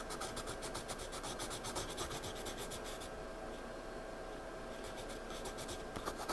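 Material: Paper.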